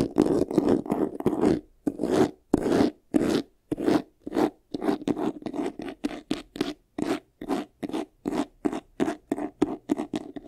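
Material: Faux leather.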